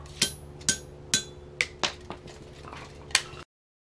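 A 1-inch steel ball bearing is dropped from one foot onto the middle of the face of a Peter Wright wrought iron anvil, with its chains loose, to judge the rebound. Each impact gives a short, bright, high-pitched metallic ping that dies away quickly over a steady low hum, repeated several times with uneven gaps.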